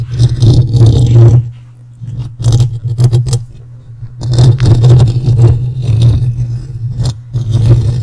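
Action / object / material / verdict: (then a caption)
scrape / metal mesh microphone grille / metal mesh / none. Fingertips and short nails scratch and rub the hollow metal mesh grille of a large dark USB condenser microphone up close, and both hands cup the grille by the end; rings on the fingers may add small metal clicks. The result is loud, bassy rumbling and thumping around a steady low drone, broken by bursts of bright, gritty scratching with brief quieter pauses between passes.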